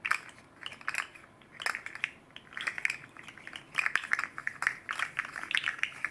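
A hand-sized red and green fidget slug made of hard plastic with hollow jointed rings is held in both hands and flexed and bent with the fingertips, while a second slug lies unused on the table. Its segments clatter against each other in quick bursts of dry, bright clicks and rattles, centered around 1.7 kHz with no low end. The clicks come in irregular clusters separated by brief quiet gaps.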